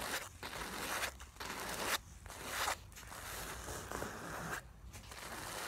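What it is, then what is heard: Nylon makeup bag scratched. Long nails quickly scratch and rub across the soft black nylon fabric of a filled makeup bag. The result is a series of raspy, bright rustling bursts that swell and drop off irregularly, with short quiet gaps between strokes.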